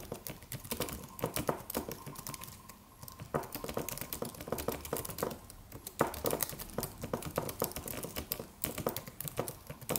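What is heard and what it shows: Fingertips of both hands tap the white plastic keys of a slim, solid, low-profile silver aluminum computer keyboard in a steady typing motion. Dense, short clicky taps come in quick bursts, separated by a brief lull around the three-second mark.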